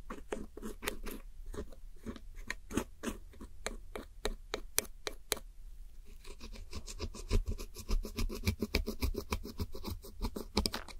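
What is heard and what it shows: A red-handled metal hook tool scratches and crumbles pink, purple and red pressed powder eyeshadow wedges in a round white plastic palette. Quick, dry scratching and crumbly strokes repeat in an uneven rhythm over a low rumble, with bright, crisp edges. They grow denser and faster in the second half as the powder breaks apart.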